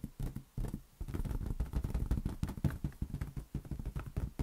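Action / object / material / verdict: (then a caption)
tap / inflated latex rubber balloon / latex rubber / none. A large, hollow, air-filled green latex balloon is held in one hand and tapped rapidly with the fingertips. The taps make a dense stream of soft, dull, low thumps with a slight hollow boom. Each thump dies away almost at once.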